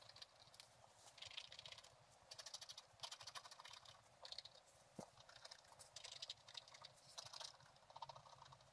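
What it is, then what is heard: Scratch-art paper being scratched. A thin wooden stylus scratches the left side of a black-coated scratch-art page with a gold underlayer, lying flat in a book. Quiet bursts of rapid, dry, high-pitched scratching come in clusters with short pauses between them, each stroke stopping dead with no ring.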